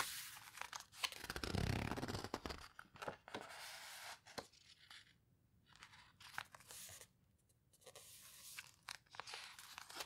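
Fingertips and long nails press, rub and turn the paper pages of an open paper photo book. Dry, tearing-like rustles and crinkles swell loudest in the first few seconds, then thin out into quieter scrapes broken by sharp, bright clicks and page flicks.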